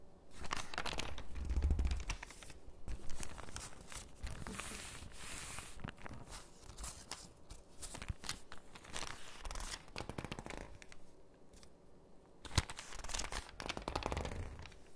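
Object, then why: Thin paper catalog page. Fingertips press and rub the page of an open, thin, crinkly paper catalog, then a page is turned and crinkled. Dense, irregular bursts of dry crinkling and rustling swell and fade across the clip, with one sharp paper snap near the end.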